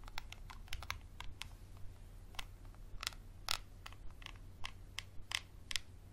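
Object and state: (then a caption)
Textured glass bottle. A small, empty, textured glass bottle with a dark cap, held in hand, is scratched with a Sharpie marker. Quick, irregular, bright scratching clicks come at an uneven pace, each dying away almost instantly over a faint steady low hum.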